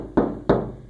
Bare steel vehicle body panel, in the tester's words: you can hear the outside of the tub